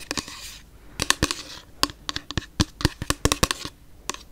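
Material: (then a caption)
Plastic. Long nails tap and scratch a pink frosted plastic toner bottle with liquid inside. Sharp, bright clicks come in a quick, uneven series, with soft scratching between them at the start.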